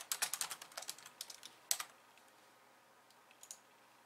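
Long nails type fast with both hands on a pink plastic slim keyboard with white keys. About sixteen quick, bright, dry clicks come in a steady run for nearly two seconds, then a quiet pause with a few faint taps near the end.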